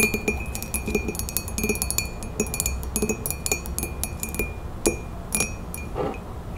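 Long nails, with rings worn on the fingers, tap rapidly on the sides of a hollow printed ceramic coffee mug standing on a table. The result is a quick run of bright clinks, each with a brief glassy ring near 2.5 kHz over a low body around 336 Hz.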